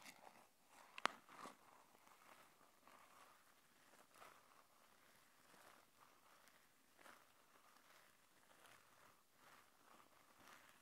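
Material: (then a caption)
Cardboard. Long painted nails tap and scratch the sides of a small, hollow, printed red-and-white cardboard earphone box held in both hands. Two sharp, quick taps stand out near the start, then soft, dry scratching strokes continue at a low, even level with a papery mid-high rasp.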